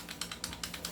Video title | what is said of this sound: Review N Unbox of God Father 6.0, CZ Tactical Sports2, Glock 17&18 | Umakalog, umiingay, di ba?